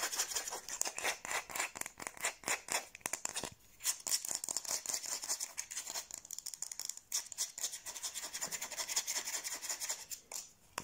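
Long blue nails scratch and rub fast across the back of the bowl of a light, solid wooden kitchen spoon held toward the camera. Quick, dry, bright rasping strokes follow one another in dense bursts, with almost no low end and brief pauses around 3.5, 7 and 10.5 seconds.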